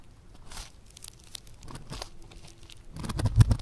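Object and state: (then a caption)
Foam clay (floam) crackling when squeezed. A yellow lump of foam clay (floam), a soft, solid, bead-textured material, is lifted and squeezed between the fingers. It gives off quiet, irregular crunchy crackles and small pops that grow louder and heavier toward the end.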